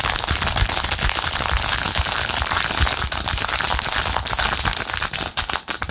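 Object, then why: Rhinestone-covered plastic phone case. Long nails rapidly scratch and tap a blue, rhinestone-covered plastic phone case held in both hands. The result is a dense, steady stream of bright, crisp clicks and scratchy rasps with little low end, breaking into choppier taps near the end.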